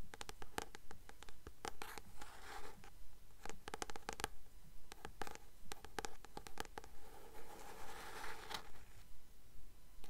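Long nails tap and scratch the glossy card cover of the blue paperback book "The Titan's Curse," held upright in both hands. Quick, dry clicks come in an irregular stream, mixed with soft, hissy scraping strokes. The sound stays close and quiet throughout.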